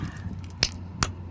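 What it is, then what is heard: Hard lump in garden material, solid. An unidentified hard lump, possibly a stone, found while sorting garden compost and fertilizer material is tapped twice, giving two short, sharp clicks with a bright crack over a steady low hum. The lump proves hard.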